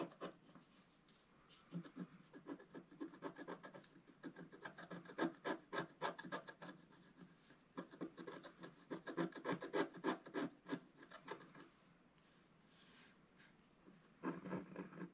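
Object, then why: Black-coated scratch-art paper scraped with a wooden stylus. A wooden stylus scratches the paper boats drawn in the middle of a flat black-coated scratch-art page while the other hand holds the sheet still. Quick, fairly steady dry scratching strokes come in bursts separated by short quiet pauses, with a soft papery rasp that stops almost instantly after each stroke.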